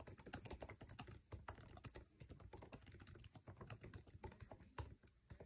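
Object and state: Plastic laptop keyboard.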